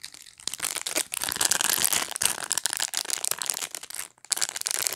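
Long nails scratch and rake over the dense plastic pin bristles of a black rectangular pet brush. The result is a bright, crackly, crinkling rasp that runs almost continuously, with a short pause just past four seconds before the scratching resumes.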